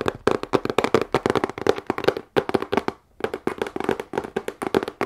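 A medium, hollow, closed corrugated cardboard shipping box is held in front of the chest and tapped with long nails on its sides and top. Quick flurries of dry, hollow clicks have a mid-pitched body around 445 Hz and die away almost instantly, with a brief pause near the middle before the tapping resumes.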